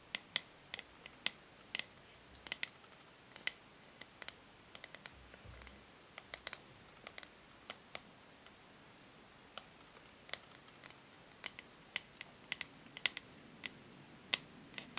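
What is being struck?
Plastic hair brush back.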